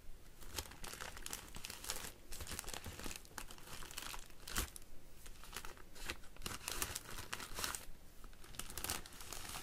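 Fingernails scratch the clear plastic liner inside an empty woven wicker hanging basket and run along the outside of the woven wicker twigs. The result is a dense, irregular run of crinkling, crackling scratches with bright, sharp bursts over a low rumbling base.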